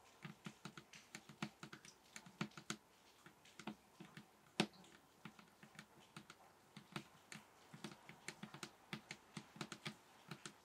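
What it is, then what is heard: Table top tapped with fingertips. Fingers tap on a table top in a steady run of quick, separate taps, each a soft bassy thump around 200 Hz with a bright click on top. Every tap dies away almost at once, and one tap near the middle lands louder than the rest.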